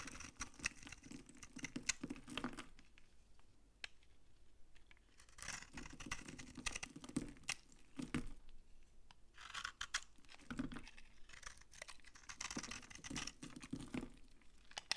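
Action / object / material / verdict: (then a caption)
scrape / soap bar / soap / none. A hand-sized, old, dry, solid beige vintage soap bar is held in the palm while fingers and a blade crumble and scrape off dry, crunchy chunks. Quiet bursts of dense, bright crunching and scratching come in waves with short pauses between them.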